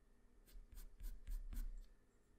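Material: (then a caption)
Paper. A black wooden pencil held in the fingers draws its graphite tip across a flat sheet of white drawing paper resting on a hard surface. Quiet, continuous scratching strokes come in short bright bursts over a soft low rumble, then fade near the end.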